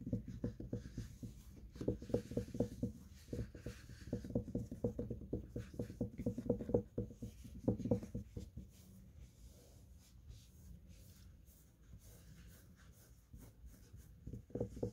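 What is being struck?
Carpeted cat tree platform.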